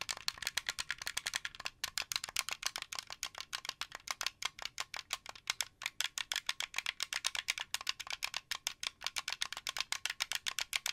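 Fingertips and nails rapidly tap and click the white buttons and thumbsticks of a translucent blue, hollow plastic Xbox 360 controller. About 76 quick, dry, bright clicks and taps follow one another in a steady rattling stream, each ending almost instantly with no low-end body.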